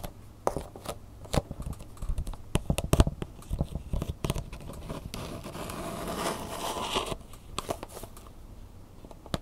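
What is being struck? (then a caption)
Plastic blister pack with cardboard backing. Long nails tap the front and edge of a hollow clear plastic blister pack with a cardboard insert, holding a flash drive. Quick, sharp clicking taps come in uneven bursts with a low hollow knock. A steadier scratchy rustle runs through the middle before the scattered taps return.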